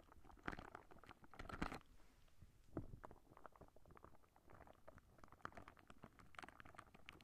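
A clear, soft rubber spiky squishy ball is held in both hands beside the microphone, squeezed, and its spikes plucked and scratched with long nails. The result is quiet, irregular soft squelches, rubbery snaps and dry crackly scratches, with a few louder squeezes near the start and a low, muffled body.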